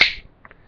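Two metal screwdrivers are tapped together, producing a single sharp, bright metallic click centered around 2.1 kHz that fades within a fraction of a second. Two much fainter ticks follow about half a second later. The sound is attributed to energy interference between the atoms rather than the atoms actually touching.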